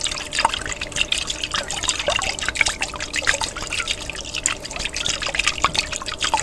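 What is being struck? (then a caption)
Glass jar partly filled with water. A large clear glass jar with a white plastic lid, partly filled with water, is held upright and shaken by hand so the water sloshes inside. The sound is a steady, bright, watery churning full of quick trickles and small sharp droplet clicks, with very little low end.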